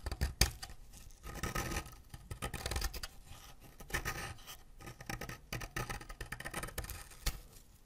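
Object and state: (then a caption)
Wax crayon scraped with a knife. A white ceramic knife blade scrapes a solid green wax crayon over a pile of colourful wax shavings. Repeated bright, gritty scraping strokes swell and fade in irregular bursts, with a sharp click near the start and soft low thumps underneath.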